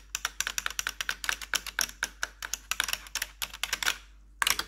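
Long pointed metal nail tips over blue gloves tap and scratch the hollow keycaps of a full-size black plastic RGB-lit keyboard. A rapid run of bright, sharp clicks with almost no ring continues for about four seconds. After a short pause, a final quick burst of taps follows.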